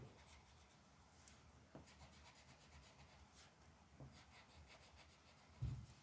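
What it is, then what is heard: Colored pencil on paper. A purple colored pencil, held in a hand with long black nails, rubs and scratches across a single flat sheet of printed mandala coloring paper lying on a dark wooden table. A quiet, steady scratchy rubbing runs throughout with faint bright strokes, and a short, louder dull bump comes near the end.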